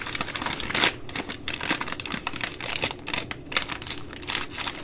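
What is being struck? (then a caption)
Baby wipes multipack in plastic film. Long nails tap and scratch the side of the plastic overwrap on a full three-pack of baby wipes. The result is a quick, uneven run of bright, crinkly taps and scratchy rustles, mostly high-pitched with little low end.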